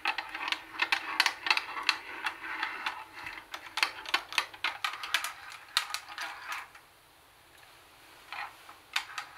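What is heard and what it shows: Long nails tap across the black plastic top, CD lid and control knob area of a plastic CD cassette boombox. Quick, dry, bright clicks come in dense irregular clusters with almost no ring. The tapping fades into a short quiet gap, then a few scattered taps close the clip.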